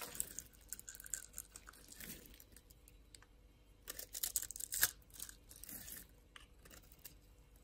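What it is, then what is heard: Soap bar cut and scraped. A utility knife blade cuts and scrapes the pre-scored surface of a solid, hand-sized orange bar of soap held in the palm, so small soap cubes crumble off. The sound is quiet, bright, crisp scraping and crumbling with irregular little clicks and tearing textures. A denser, louder flurry comes around the middle of the clip.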